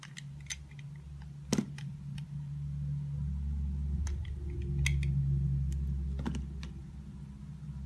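A small layered soap bar with a turquoise outer layer and an orange-and-white patterned core is held in the fingers while a utility knife blade cuts and scrapes thin slices from it. Short, crisp ticks and scratchy scrapes come at an uneven pace over a steady low hum.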